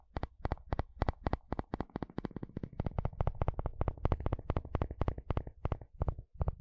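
A wooden spatula strums and scratches across the long, wide teeth of a blue plastic comb. The result is a quick, steady run of sharp, dry clicking strums with very short decays, over a low, rumbling undertone.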